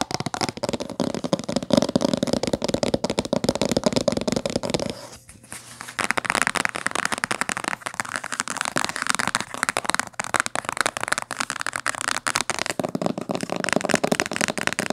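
Long fingernails tap fast on the cover and spine of a thick, dark blue cloth-bound hardcover book lying flat. The result is a dense stream of dry, crisp clicks with a bright, papery texture. The tapping briefly softens about five seconds in, then continues just as busily.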